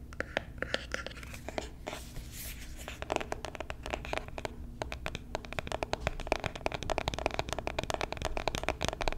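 Long nails scratch and tap on the surface of a small, hollow white cardboard box held in the hand. Quick, sharp clicks come sparse at first, then in dense, rapid runs, with brief papery scratching between them and a faint low hum underneath.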